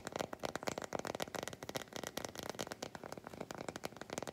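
Long white nails scratch the flat back of an unwrapped solid milk chocolate bar. The result is a quiet, rapid run of dry, crackly scrapes and clicks with a mid-range body and bright edges, each stroke dying away almost instantly.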